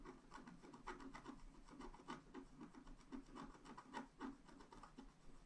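A wooden stylus scratches dense strokes through the black coating of a flat scratch art paper card lying on a table. The result is a quiet, dry, rasping scrape in quick, uneven strokes, with a soft low-mid body and brief brighter bursts on the firmer strokes.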